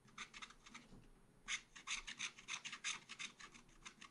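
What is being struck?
Coated scratch art paper scraped with a wooden stylus.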